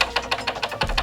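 The thin hard plastic interior trim panel of a 2023 Range Rover is tapped at its clips, giving eight quick, sharp, bright clicks with almost no ring. Only one clip has damping material and there is no gasket, so the loose clips rattle and the hard plastic resonates.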